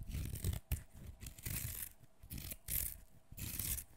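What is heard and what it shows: A fresh, whole green cucumber, solid and fleshy, is held in one hand over a wooden floor while the fingernails of the other hand scratch and peel off its skin. Bursts of bright, raspy scratching and tearing alternate with soft low rubbing and a sharp snap near the start. The sound is close and dry, with almost no ring.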